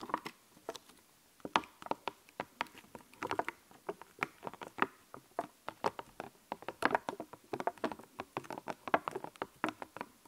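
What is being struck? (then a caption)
Puffy epoxy plastic stickers on a clear backing. Fingertips and nails press, tap and scratch the raised puffy epoxy plastic stickers on a small sheet with a clear backing, held in both hands. Dozens of quiet, dry, short plastic clicks and taps come in an irregular patter, centered in the midrange with almost no low end and very little ring after each hit.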